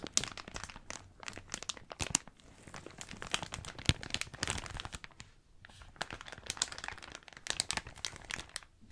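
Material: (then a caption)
Plastic. Hands crumple and crinkle an empty, thin blue plastic bag. Dense, bright crackling rustles with frequent sharp snaps come in uneven bursts, with a few louder crackles and brief quieter pauses.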